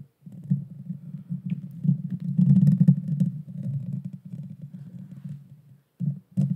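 Long painted fingernails scratch the bare metal mesh grille of a small pink Blue Yeti Nano USB microphone with a hollow head. The result is a dense, low, rumbling scrape that swells and fades in rough, uneven strokes, drops to near silence around the six-second mark, then returns in two short bursts.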